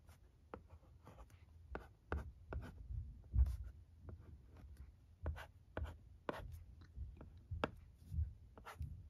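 A pencil-like stylus scratches across the screen of a thin plastic LCD writing tablet resting on carpet while writing the alphabet. The result is a series of short, dry taps and scratchy strokes with a dull low thump beneath them, each stroke stopping quickly with almost no ring.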